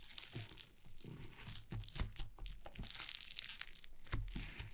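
Yellow foam slime lying on a wooden table is poked, pressed and scratched with long painted nails. The result is a steady stream of crackly, crunchy popping and squishing with bright crisp edges over a soft low thump.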